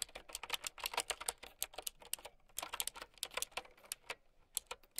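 Long nails and fingertips type on a mint-green typewriter-style mechanical keyboard with round plastic keycaps. A quick, uneven run of sharp, bright plastic clicks follows, each dying away almost instantly, with brief pauses near 2.4 and 4.2 seconds.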